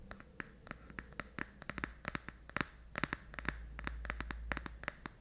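A small pink rectangular cardboard box, held in both hands just above a fluffy microphone windscreen, is tapped and scratched with fingertips and nails. The result is a quiet, irregular run of short, dry clicks and scratchy taps with no ring, over a low steady hum.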